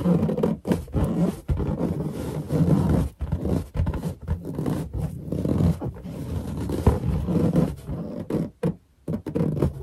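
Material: Latex.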